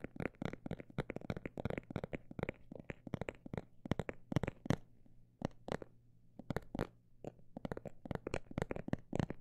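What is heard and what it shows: A textured cosmetic bag is tapped in a quick, irregular rhythm that slows to sparse taps midway and then speeds up again. Each tap is a short, dry, crinkly click with no ring, heard over a faint low hum.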